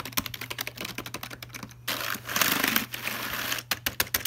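Fingertips tap and type on the plastic keys of a full-size black Logitech keyboard resting in its open cardboard box, producing a quick run of light, bright clicks. In the middle the clicks give way to a denser, continuous scratchy rustle before the separate key taps return. A faint, steady low hum sits underneath throughout.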